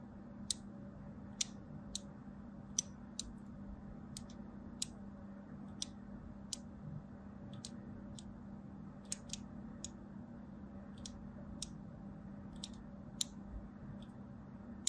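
A thin blade scratches lines into a solid striped soap bar, with the blade set aside at the start. About nineteen short, sharp, bright scratching clicks sound at irregular intervals. A steady low hum runs underneath throughout.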